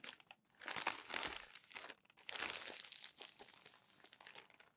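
Palms and fingertips rub and smooth crumpled, newsprint-like glossy magazine pages flat, and the pages are turned. Bright, dry crinkling and rustling come in several louder swells with quieter gaps between them, with almost no low end.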